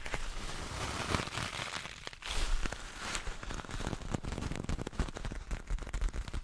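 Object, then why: Cloth juggling ball. A small, soft, multicolored cloth juggling ball, likely filled, is held up beside the mic while fingertips and nails scratch and squeeze it. This produces a steady stream of crackly, rustling scratches with a heavy low-end thump. The scratching grows into quicker, choppier bursts toward the end.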